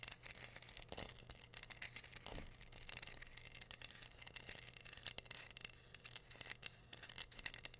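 Long green nails scratch and tap across a flat, solid, hand-sized heart-shaped wooden board covered in glued-on pink rhinestones, held upright. Dense, bright clicking and scratching runs throughout at a quiet level over a steady low hum.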